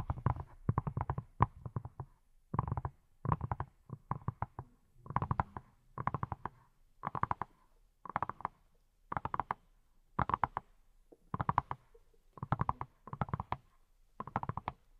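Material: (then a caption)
Silicone. Fingertips wearing silicone rubber pads tap on a hand-sized, hollow-looking yellow silicone pineapple-shaped brush. Short bursts of rapid, soft taps repeat steadily with brief pauses between them. Each tap is a muffled, hollow thud with a low body and a dull midrange knock that dies away almost instantly.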